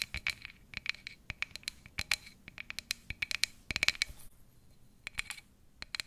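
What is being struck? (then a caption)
Empty frosted plastic cup. A tall, empty, frosted plastic cup has its sides and base scratched and tapped with fingernails. The result is quiet, bright, dry clicks and scratchy taps in quick clusters, with a faint hollow ring around 2.3 kHz. There is a brief lull in the middle before the tapping resumes.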